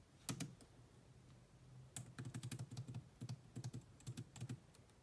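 Two hands type on a grey laptop keyboard with black plastic keys, using long nails and fingertips. About twenty short, dry taps and clicks come in an uneven rhythm: a quick pair near the start, a pause, then a denser run of keystrokes. Each tap has a low thump and a brief bright click that dies away almost at once.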